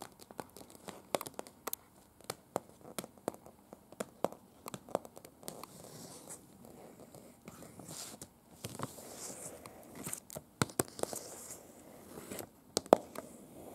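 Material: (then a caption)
Paper. Very long pointed acrylic nails tap and scratch across a large, thin printed paper street map of Prague, a folded city map lying flat on a bed. Sharp, crisp clicks from the taps are scattered throughout, separated by softer stretches of dry scratching and faint paper crinkling.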